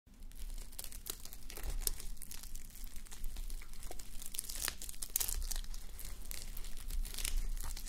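A flip-sequin sleep mask, plastic sequins on thin, soft fabric, worn on a white plastic mannequin head, is scratched and rubbed with the long manicured nails and fingertips of both hands. A continuous crinkly, tearing scratch fills the clip, with many sharp bright clicks as the sequins flip, over a steady low hum.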